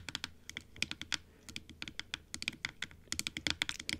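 Long acrylic nails tap on the top and teeth of a large, closed, hollow plastic dental model (typodont) with pink gums, white teeth, and a blue base and top. About 26 quick, bright, clicky taps come in an uneven run, each dying away almost instantly with no ring.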